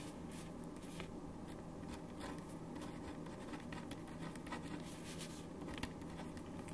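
A black ballpoint pen writes in steady strokes on a thin white paper sheet resting on a wooden desk, held in place by the fingertips of one hand. Quiet, continuous scratching is heard, with faint bright streaks from the pen tip over a steady low background hum.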